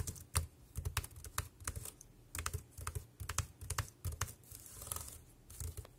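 Fingertips type quickly on a dark grey plastic wireless keyboard with round keys resting on a plastic sheet. The result is a fast, irregular run of short clacking taps, each with a dull low thump and a bright click that dies away almost at once.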